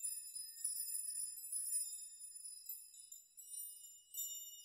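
Fingertips and open hands gently rock and brush a large hanging chime made of many thin metal nails on strings, so the dangling nails clink together. The result is a quiet, continuous shimmer of bright, high tinkling tones with no low end. It swells and fades, with a fresh burst of clinks near the end.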